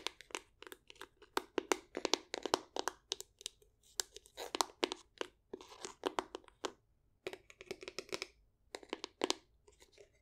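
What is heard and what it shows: Long acrylic nails tap and scratch a hollow, medium-sized light-wood box, making quick, dry clicks in irregular bursts with brief scratchy rasps between them. Each tap dies away almost instantly, with a crisp mid-to-high tone and nothing in the low end.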